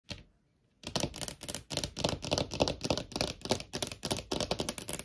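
Long painted nails tap on a small, thin, hollow clear plastic phone case with a holographic heart print, held on a wooden table. A brief tap is followed by a short pause, then a rapid, uneven run of crisp, clicky taps with bright, high edges and a hollow plastic tone.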